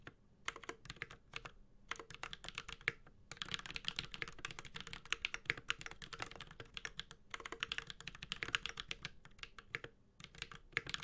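Fingertips of both hands type continuously on a Space65 Cybervoyager 65% mechanical keyboard with Holy Panda switches, a white-gold metal case and ABS keycaps. The result is a rapid stream of bright, short, clacky keystrokes with very little ring. A few brief pauses break the steady typing.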